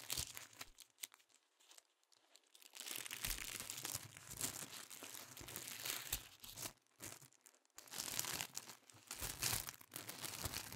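Several thin pink tissue paper sheets, held in both hands, are crinkled and rubbed between the fingertips. It starts with sparse, quiet crackles, then builds from about three seconds into dense, bright rustling and crinkling. After a brief lull just before eight seconds, the crinkling picks up again.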